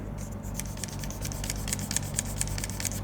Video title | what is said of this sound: dbrand Killswitch Ultra for ROG Xbox Ally X - unboxing and overview! | They have this kind of plastic cover which does rattle a bit if you shake it around.